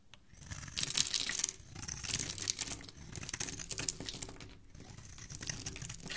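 A utility knife blade is scraped and carved across the surface of a hand-sized solid white soap bar held in a hand with dark painted nails, shaving off crumbly flakes. The sound is a dense run of crisp, bright scraping and crumbling crackles that swell and fade in short bursts, with little low-end weight.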